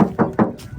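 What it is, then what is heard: Original thin paint on car body panel (no filler). Knuckle knocks on the painted steel body panel of a used Toyota Vigo pickup give three quick, hollow taps with a low tone and short ring. The knocks sound clear and airy rather than dull or muffled, indicating thin original factory paint rather than thick body filler.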